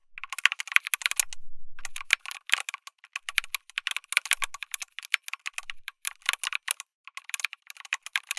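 Fingertips type continuously on a backlit mechanical keyboard with plastic keycaps, an FR4 plate and tactile switches. Rapid, bright, dry clacks with almost no ring come in quick bursts, broken by a short gap near the start that carries a faint low rumble.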